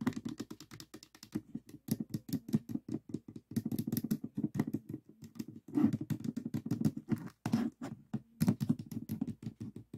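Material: Plastic.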